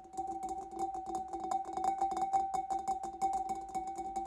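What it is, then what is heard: Glass fish bowl. Long dark nails tap rapidly and unevenly around the lower sides of a large, clear, empty glass fish bowl held in both hands. Each tap is a light, bright click, and together they leave a steady glassy ring humming underneath at a mid pitch, with a fainter higher tone above it.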